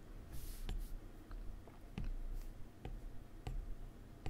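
A plastic stylus tip draws strokes and taps menu items on the solid glass touchscreen of an iPad. Soft, bright scratchy rubs from the strokes mix with six light, short clicking taps over a quiet low hum.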